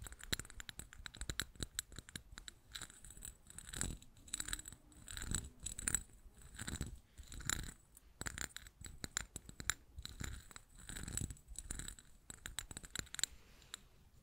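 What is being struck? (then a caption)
Small glazed ceramic cup with embossed relief. Long painted nails tap and scratch the textured outside of a small, hollow green glazed ceramic cup with floral relief, held in both hands. The result is a quiet, dense stream of quick, bright clicks and dry scratchy rasps in uneven bursts. Each tap dies away almost instantly, with no ringing.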